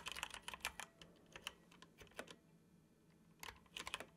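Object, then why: Plastic computer keyboard. Fingertips tap the keys of a dark plastic computer keyboard in slow typing with pauses. Short, bright clicks centred around 2.6 kHz come in quick bursts separated by quiet gaps, and each stops almost instantly with no ring.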